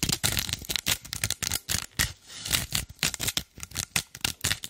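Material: Loofah fibre.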